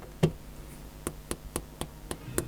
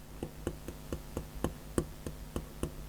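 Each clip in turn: First: Seven crisp, very short ticks: a hard stylus nib clicking on glass, with no soft cushioning. Second: Ten light, evenly spaced taps, each a brief dull click with no ring: a soft stylus nib on glass.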